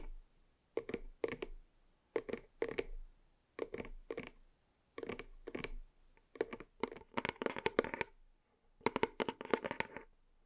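A white cardboard box held in both hands is tapped and scratched with fingernails on its front. Quick paired taps come in short bursts, then denser runs of scratchy tapping follow near the end. The sounds are dry and papery, with no ring and a midrange hollow tone.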